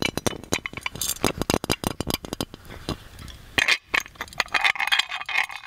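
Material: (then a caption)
Metal. Fingernails tap and scratch the lid knob of a hollow gold-plated metal magic lamp, making rapid, bright metallic clinks. A dense run of sharp taps gives way to a softer scratching stretch in the middle. Brighter, ringing clinks follow toward the end.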